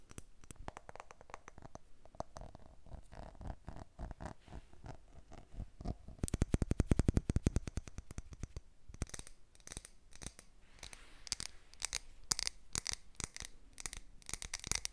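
A large Yankee Candle glass jar filled with red wax, lid on, is held in both hands and tapped and scratched with long painted nails. Quick, uneven, soft taps with dull low thumps build into a faster, louder burst of rapid tapping midway. Lighter, brighter scratching and clicking follow.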